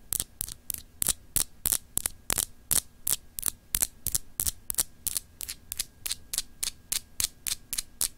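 A palm-sized solid clear glass globe paperweight with etched continents, held in the hand, is scratched by long acrylic nails. About 27 short, bright, crisp scratches come in a quick, slightly uneven rhythm, each stopping dead with no ring. A faint steady low hum runs underneath.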